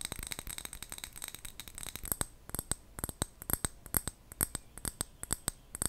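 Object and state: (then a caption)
Glass jar with metal lid. A small clear glass jar with a gold metal lid, filled with colourful wrapped sweets, is tapped with long fingernails and gently moved so the sweets rattle inside. A dense run of quick, crisp clicks gives way to sparser, sharper taps, each with a short bright glassy ping that fades almost at once.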